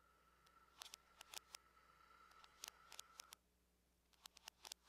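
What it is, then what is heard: Aluminum laptop lid. Long nails tap on the lid of a closed silver aluminum laptop with both hands, making quick, sharp, bright clicks in uneven bursts. A steady faint tone hums under the first part of the clip, then drops away, leaving only the taps against a quiet background.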